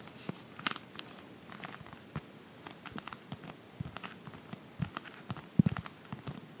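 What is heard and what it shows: Long painted nails tap and scratch across the glossy cover of a Pottery Barn paper magazine held close to the mic in both hands, possibly with some page handling mixed in. A scattered run of soft, dry, crinkly ticks and brushes sits over a quiet background, each dying away almost instantly, with a few sharper taps standing out near the end.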